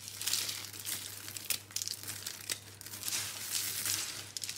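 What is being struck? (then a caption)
Crumbled bar soap. Hands scoop, squeeze and crumble a pile of crushed dry soap in green and pink. The result is a continuous, bright, dry crinkling crunch with sharp crackles throughout, over a faint steady low hum.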